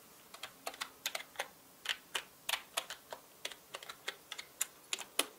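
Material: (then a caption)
Plastic. Fingertips type fast on the plastic keycaps of a full-size black mechanical keyboard, producing a quick, uneven run of about 23 sharp, bright clicks and clacks. Each keystroke is short and crisp with almost no ring and no low-end thump.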